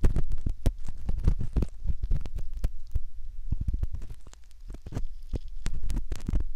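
A metal ear pick scrapes in the canal opening of a soft silicone ear model. Up close it comes through as a dense run of muffled, deep thumps and rubbing scratches, with occasional brief brighter clicks and no ringing between strokes.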